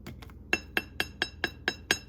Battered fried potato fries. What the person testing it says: See how crispy that is?